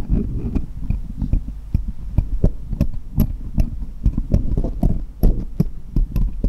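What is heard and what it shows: Small solid steel jeweller's screwdrivers lie crosswise on cloth while one is held upright by the fingertips and tapped against the others, metal on metal. A rapid, irregular series of short, dull taps comes through, heavy and boomy in the low end with faint bright clicking on top. Each tap dies away almost instantly.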